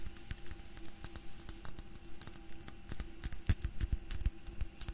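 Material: Glass.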